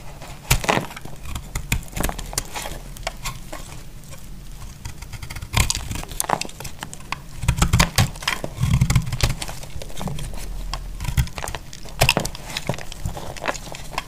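A thin, solid, dry pink soap strip is held in the hand and shaved with a utility knife over a pile of flakes. Dense, crisp scraping crackles and sharp, bright clicks come in quick bursts over a steady low rumble, with a few louder snaps standing out.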